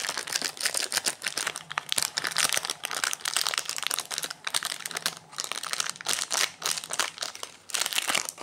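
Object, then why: Plastic-wrapped protein bar. Fingertips crinkle and rub the plastic/foil-lined wrapper of a solid orange Quest protein bar, including its crimped seam, as it lies on a granite counter beside another wrapped bar that stays untouched. The sound is a dense, bright crackling of sharp, dry crinkles that come in uneven bursts with brief pauses. There is almost no low end.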